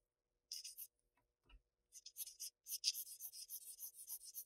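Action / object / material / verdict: scrape / graphite pencil on Bristol paper sheet / paper / none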